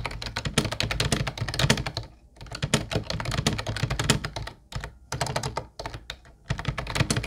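Fingertips type continuously on the round white plastic keys of a small, hollow teal plastic Ubotie keyboard. The result is rapid, clacky taps with a hollow low thump under bright clicks, broken by short pauses around 2 s, 5 s and 6 s.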